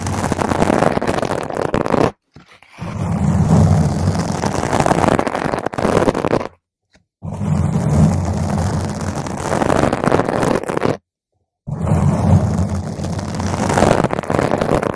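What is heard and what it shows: Long nails scratch a round purple foam microphone cover from the top and sides, making a dense, rough, crackling scratch with a heavy low rumble. The scratching comes in four long bursts separated by short silences.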